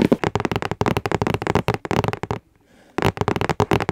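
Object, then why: Cardboard gift box. A medium pink hollow cardboard gift box, held upright with fingertips on its sides, is tapped and scratched rapidly on its surface. Quick dull taps and scratchy rustles run nearly continuously, break off into a brief quiet stretch with faint hiss, then resume at the end.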